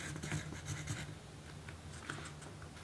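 A yellow graphite pencil writes on a small pink paper note sheet resting on a dark table, with a magazine in a plastic sleeve lying untouched beside it. Quiet, scratchy pencil strokes come in short bursts with bright, papery texture over a steady low hum.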